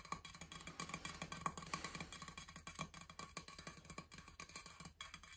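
Fingertips and nails scratch and rub the coated surface of a large, blue, powder-coated, insulated stainless steel water bottle held in both hands. The hollow bottle answers with a quick, uneven stream of short, dry scrapes and taps over a low background hum, each stroke carrying a faint, brief metallic ring.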